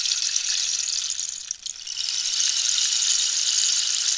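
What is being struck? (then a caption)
Dried cactus wood rainstick with pellets inside. A hollow dried-cactus rainstick, held at an angle, is tapped and scratched along its ribbed wood with long nails while pellets rattle inside. It makes a steady, bright, hissing patter like falling rain, with almost no low end. The sound dips briefly around the middle and then swells back to a full, even rush.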